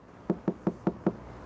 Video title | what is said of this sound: How to Reduce Tyre Noise Inside YOUR Car | you can hear how dull it sounds